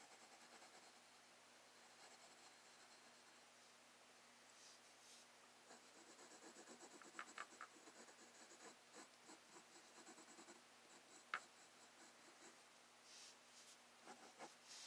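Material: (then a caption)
Paper. A graphite pencil shades around a drawn sphere on a flat sheet of drawing paper in a spiral sketchbook resting on a wooden desk. Soft, dry scratching strokes rise and fall throughout, with bright hiss. A few sharper ticks stand out, the loudest near the end.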